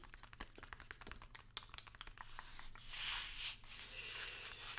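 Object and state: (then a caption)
Cardboard box, hollow. A long, narrow, hollow white cardboard product box is held upright in one hand while the long nails of the other hand tap and scratch it rapidly. Quick, crisp, irregular taps come first, then give way to a brighter, continuous scratching rush that swells and fades in waves. A faint steady low hum sits beneath it all.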